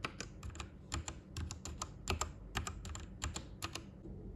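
Fingertips type on a white plastic Royal Kludge RK98 mechanical keyboard with its backlight turned off, producing about twenty uneven, sharp key clacks. Each keystroke is a short, dry click with a low thock underneath and a bright, crisp top that fades almost instantly.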